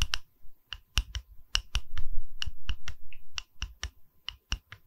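Tapping on a wooden pedestal: a run of sharp, dry, irregularly spaced taps, each with a quick bright click over a soft low thump and almost no ring. Some taps land in quick pairs, and a low rumbling scrape briefly fills the gaps mid-clip.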